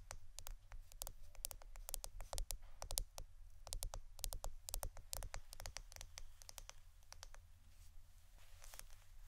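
A roll of plastic adhesive tape is tapped and scratched with no talking, for ASMR. Rapid, quiet, dry clicks and taps with bright, crisp edges come in uneven bursts. A steady low hum sits underneath.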